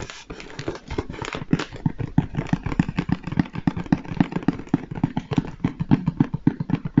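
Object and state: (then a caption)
Hollow cardboard box. A large, hollow Lego Stormtrooper cardboard box is held upright and tapped on its face with the fingertips and a flat hand. The result is a quick, irregular run of dull, low, hollow thuds that die away almost instantly, with soft scratchy brushing between the taps.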